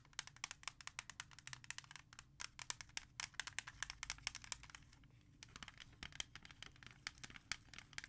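A clear plastic CD jewel case, held from the back, is tapped and scratched with long red nails. Dense bursts of bright, sharp clicks and scraping come in quick succession, each dying away almost instantly over a faint low hum, with a brief lull in the middle.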